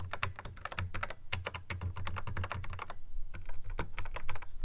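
Fingertips tap quickly across the pads of a Yamaha RX11 drum machine in a black plastic housing. The result is a fast, uneven run of short, dry, clicky taps that die away at once, over a steady low hum.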